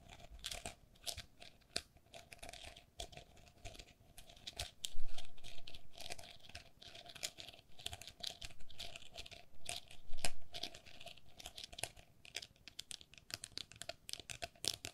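A small, hollow, empty openwork plastic pen holder with a lattice body and scalloped rim is held in both hands while long nails tap and scratch across the lattice. The result is a dense run of quick, dry clicks and crinkly scratching with bright, crisp edges, swelling into louder bursts of scraping around the middle.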